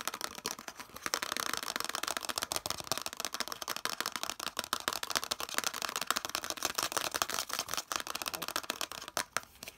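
Fingertips and nails rapidly tap and scratch a hand-sized, hollow, molded yellow plastic piece with a central ridge. The result is a dense, fast stream of sharp, dry clicks and scrapes, bright and hollow-sounding with almost no low end and no ringing after each hit.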